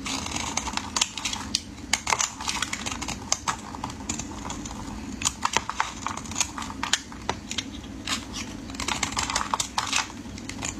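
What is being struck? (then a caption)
Bar of soap cut with a metal blade. A metal utility blade shaves curls off the end of a solid, hand-sized, rectangular orange-peach bar of soap held in hands wearing pink finger cots. Crisp, bright scraping cuts and sharp little clicks come in quick, irregular bursts over a soft, steady hiss. Each cut dies away almost instantly.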